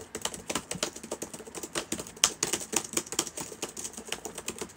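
Fingertips of both hands type rapidly on the plastic keys of a black laptop with a hollow body, sitting open on a table. The result is a steady, uneven stream of short, bright, clicky taps with almost no low end, each dying away almost instantly, with a few sharper, louder key strikes standing out.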